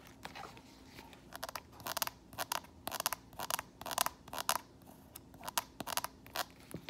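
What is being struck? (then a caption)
Strappy flat sandal with faux leather straps and footbed. Long painted nails tap and scratch the tan footbed and metallic faux leather straps of a flat strappy sandal lying on the floor. They make quick, bright, scratchy clicks and rasps in irregular bursts, with short pauses between them. The sound stays soft and dry, with no ring after each stroke.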